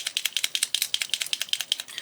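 A metallic silver paint marker pen is shaken before its first use, giving about 16 quick, bright, high-pitched rattling clicks. The rattle shows there is a mixing ball inside the pen.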